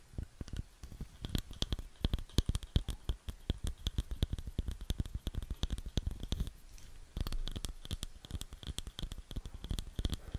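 Long nails tap and scratch on a round, light wooden bowl that is hollow and empty. Rapid, dry, short taps each carry a low, hollow knock and a bright click. After a brief quieter stretch around seven seconds, the tapping and scratching continue steadily to the end.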